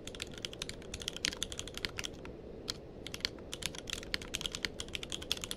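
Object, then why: Mechanical keyboard with plastic keycaps. Fingertips of both hands type continuously on a tenkeyless mechanical keyboard with plastic keycaps. The result is a fast, steady stream of short, crisp clicks with a bright tone centred near 3.3 kHz over a soft low hum, with a brief lull around two and a half seconds before the typing picks back up.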